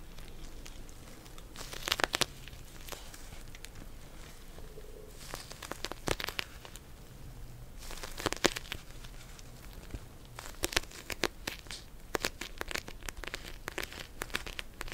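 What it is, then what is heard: Plastic gel bead cold pack. Long nails tap and scratch across the plastic surface of a pink gel bead cold pack. Quiet crinkling and crackling run throughout, with bursts of sharp, bright clicks that grow denser toward the end.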